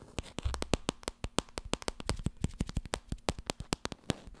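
Long red nails tap fast on the spine and cover of a small, solid, laminated cardboard board book. About thirty dry, sharp clicks come in a quick, uneven run, each with a soft low thump and a bright tick that stops almost at once.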